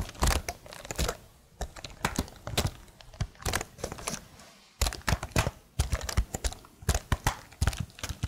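A plastic laptop keyboard is held upright beside the microphone while one hand's long nails tap its plastic keys. Quick, dry clicks and clacks come in uneven flurries with brief pauses, each tap dying away almost instantly with a thumpy low body and a little bright tick on top.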